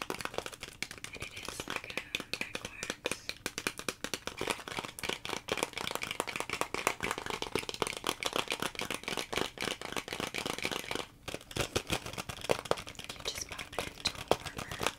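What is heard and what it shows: Long nails tap and scratch a hand-sized, hollow clear plastic clamshell blister package with a molded lid and cardboard backing. The result is a dense, continuous run of quick, bright plastic clicks and crinkly scratches, with a brief pause around 11 seconds before it resumes.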